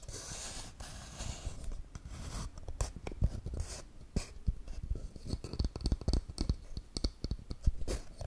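A small hollow wooden toy camera box, with textured wood grain and a wooden lens and dials, is scratched and rubbed with long nails close to the mic. A soft, continuous scratchy rubbing builds into a rapid series of short, dry taps and scrapes with a deep, hollow low-end thump and little high brightness.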